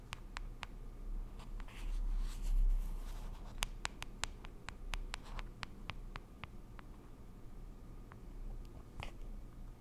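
Long acrylic nails tap and scratch the lid and side of a small, round, pink plastic cushion foundation compact, a closed hollow case held in both hands. Crisp, bright clicking taps come in an uneven patter, with a soft scratching swish in between. The sound is quiet over a steady low hum.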